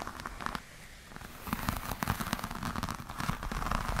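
Long nails scratch and tap a black glossy croc-embossed patent leather clutch with a metal clasp. Crackly scratching and sharp, short taps start out, ease into a quieter rustle, then build into a louder, denser run of clicks and scrapes.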